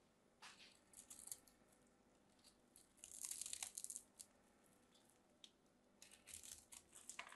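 A palm-sized, solid cream-colored bar of soap is held in the hands and scraped and cut with a metal craft knife, shaving off dry, crumbly flakes. Quiet, crisp, high-pitched scraping and crumbling bursts come in irregular clusters, with almost no low end.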